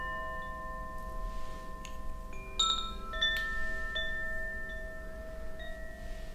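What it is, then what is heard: Bamboo Koshi wind chime. A bamboo Koshi wind chime, a hollow bamboo tube with internal metal rods and a wooden clapper, is held high by its cord and swung or shaken by hand. Several light strikes set off overlapping, sustained bright metallic tones that layer and ring on. A steady low background rumble sits beneath them.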